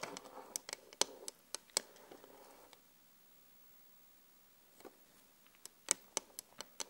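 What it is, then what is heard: Glass vanity mirror. Long glittery acrylic nails tap and scratch on the solid glass pane of a flat, LED-lit vanity mirror. Sharp, bright clicks with no ring come in quick bursts over a soft scratchy rustle for the first few seconds, then near silence. A second run of crisp taps follows toward the end.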